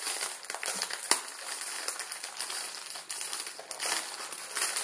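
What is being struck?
Plastic film noodle packet.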